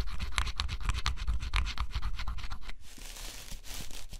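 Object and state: Scratch-off cardboard puzzle being scratched.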